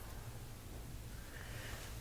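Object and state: Nothing is struck.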